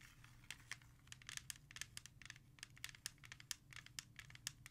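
Long red nails tap and scratch quickly across the front of a hollow plastic CD jewel case with an album cover, resting on a surface. Sharp, bright clicks with almost no ring stand out over a soft, steady scratching hiss and a faint low hum.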